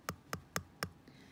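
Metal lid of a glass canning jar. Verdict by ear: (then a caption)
Sealed. The cooled metal lid of a glass canning jar, drawn inward, is tapped four times, giving short, plain ticking taps with quick decay rather than a hollow sound. This shows the jar has sealed properly.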